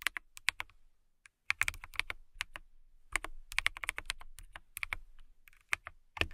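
Long nails and fingertips type on a clear acrylic mechanical keyboard with transparent acrylic keycaps. Bright, crisp clicks and clacks come in quick bursts, centered around 2.2 kHz, with brief pauses between runs. Each keystroke ends sharply with almost no ring.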